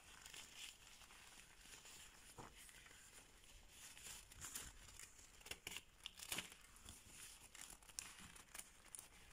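A thin latex surgical glove is bunched and crumpled by bare fingers with long red nails, its fingers pulled and squeezed. The sound is a quiet, bright, continuous crinkling and crackling, broken by short, sharp snaps that stand out now and then, with almost no low end.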